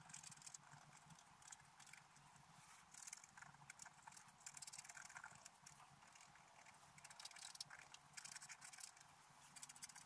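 A wooden stylus scratches a black-coated scratch art paper card, mostly around the antlers of a stag picture, while the other hand steadies the sheet. Quiet, bright, dry scratching runs throughout in quick strokes with very little low end.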